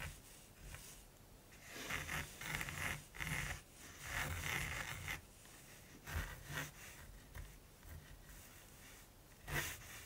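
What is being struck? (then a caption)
Gesso-primed linen canvas with pencil. A mechanical pencil held in the fingers sketches a raven's beak on gesso-primed linen canvas lying flat and solid on a table. Light, dry scratching strokes rasp across the woven surface in short bursts, brightest around 2 kHz, with quiet gaps between them.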